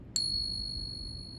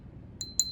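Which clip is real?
The first.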